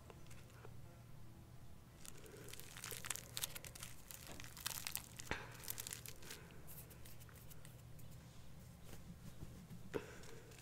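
A small bundle of dried sage leaves tied with string is squeezed and rubbed with the fingertips close to the microphone. It gives a quiet, dry crinkling and crackling in short bright bursts, with a few sharper snaps around the middle and near the end. A steady low hum runs underneath throughout.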